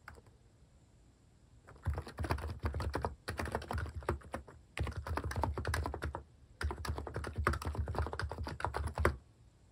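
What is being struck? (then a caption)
Plastic keyboard. A plastic mechanical keyboard with cat-face keycaps is typed on quickly. Four bursts of rapid, dense key taps carry a deep low thump, separated by short pauses.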